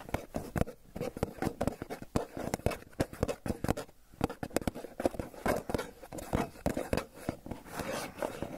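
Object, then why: Plastic lid of a small cream cheese tub. A hollow Philadelphia cream cheese tub with its clear plastic lid is held in one hand while fingertips and nails scratch and tap across the lid. A rapid, irregular series of short, dry taps and clicks mixes with soft scratchy rubbing, each hit hollow and low-bodied and dying away instantly with no ring.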